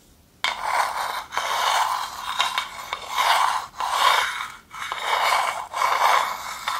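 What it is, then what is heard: Wooden bowl scraped with a wooden spoon. A wooden spoon rubs and scrapes around the inside of a hand-sized, hollow, empty, dark polished wooden bowl. Repeated swelling scraping strokes, each a dry, hissy rasp centered around 1 kHz with little low end, are separated by brief pauses.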